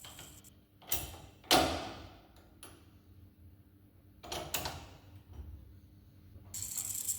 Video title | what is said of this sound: Transmission Input Shaft Inspection | you'll hear the tone changing um from the Mallet as the bearing sits on